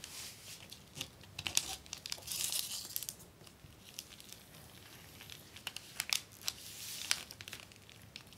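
Fingertips and long nails rub, smooth and scratch a flat acetate plastic film book cover sheet with a paper liner lying on a wooden desk. The result is a soft, bright crinkling hiss punctuated by sharp, quick scratchy clicks, with almost no low end.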